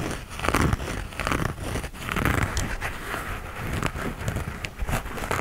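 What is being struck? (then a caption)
Knit textile running shoe. Fingernails scratch and rub the knit upper of an empty light grey knit textile running shoe held up close. The result is a dense, continuous rasping and crinkly texture, mostly low and full-bodied, with occasional brief brighter ticks.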